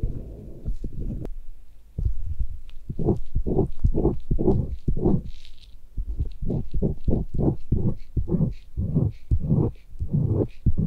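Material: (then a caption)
Silicone. A gloved hand drags a thin metal blade tool along the rim and concha of a white, solid soft silicone binaural-microphone ear, which is steadied by a bare hand. The result is a series of low, muffled scraping strokes that rise and fade in repeated pulses, with faint brighter scratches on top.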